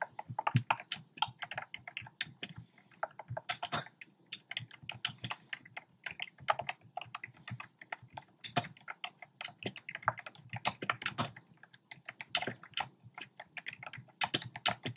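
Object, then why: Plastic keyboard with round plastic keycaps. Fingertips type rapidly on a compact black plastic typewriter-style keyboard with round plastic keycaps. The result is a steady stream of short, crisp clacks that die away almost instantly, with a bright click on top and a light, hollow low thud under each key press.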